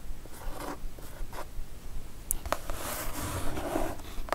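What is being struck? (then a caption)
Cardboard mailer box. Long nails tap and scratch with both hands on a kraft cardboard mailer box, the package of a Divoom Ditoo-Mic retro pixel art karaoke set. Dry, rasping scratches sweep across the surface, broken by soft, dull taps and a few brief bright ticks. Each sound dies away almost instantly.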